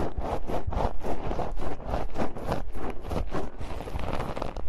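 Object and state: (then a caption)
Metal mesh microphone grille scratched. Long decorated nails scratch and tap the bare, hollow metal mesh grilles of a pair of microphones with both hands. The result is a dense run of scratchy, rumbling bursts in a loose rhythm, heavy in the low end with almost no bright content, each stroke dying away quickly.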